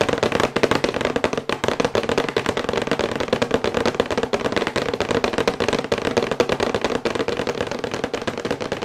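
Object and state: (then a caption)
Cardboard box, fast nail tapping. Long white acrylic nails tap fast on a thin, glossy printed cardboard box for a sonic toothbrush, held upright. The result is a dense, continuous stream of crisp, hollow clicks with a papery mid tone around 460 Hz, each tap dying away almost instantly.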